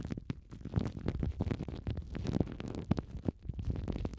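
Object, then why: Plastic cling film over foam microphone windshields. Clear, thin plastic cling film is wrapped around two small foam windshields on TASCAM mics and crinkled and squeezed by both hands with fingertips and long nails. The result is a dense, continuous stream of close, muffled crackles and crinkles with sharp little pops throughout, heavy in the low end and with almost no bright top.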